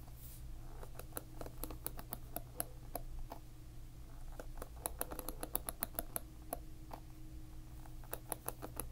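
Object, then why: Plastic-pin hairbrush. A fingertip flicks along the row of plastic pins on a hairbrush held upside down above a table, producing a long series of quick, dry, bright ticks that come in uneven bursts. Each click dies away almost instantly over a steady low hum.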